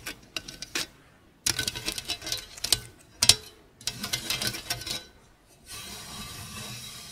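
Long pink acrylic nails tap and scratch the flat, perforated surface of a hollow sheet-metal stainless steel grater. Scattered sharp clicks give way to dense bursts of bright, dry, rattling taps that die away almost instantly. The clip ends in a steady, hissy scrape across the holes.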